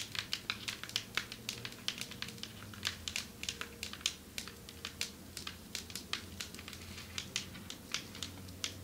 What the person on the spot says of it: Long nails tapping on marble table 6:33 - 10:18